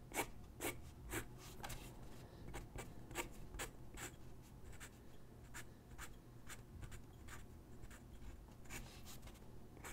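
A graphite pencil sketches on a single white paper sheet lying on a wooden desk, its tip scratching across the paper. Quiet, bright, papery scratches come in an irregular run of short strokes, about two per second, over a soft low rumble.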